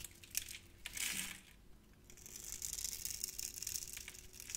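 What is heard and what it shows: A utility knife blade scrapes and cuts crunchy cubes off a solid, hand-sized, grid-scored bar of orange translucent soap. Crisp, bright crackles and short clicks are followed by sustained high, grainy scraping rasps as the cubes break away.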